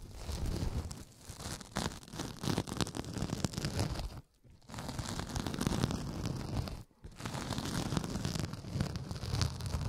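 A pink synthetic kitchen sponge, solid and soft, is held upright beside the microphone while fingers rub and scratch along its surface. The result is a steady, dense rustling and scratching with a low, full body, broken by two brief silent pauses.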